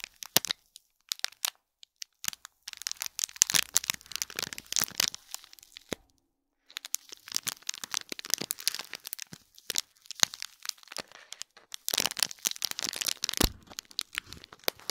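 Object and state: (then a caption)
Foil-wrapped gift box crinkled. Fingernails scratch and crinkle the gold foil of a small foil-wrapped gift box with a cord bow, sitting in plastic film. Bright, dry crackles and crinkles come in dense bursts, with a brief quiet gap near the middle. Each crackle stops almost instantly, with very little low end.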